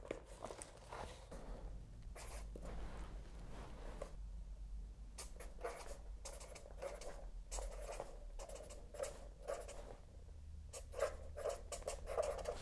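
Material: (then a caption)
Paper. A felt-tip pen writes on a spiral-bound paper notebook with a cardboard back, its tip scratching across the paper in short, bright, papery bursts over a soft low rumble. The notebook is then held in both hands at the end.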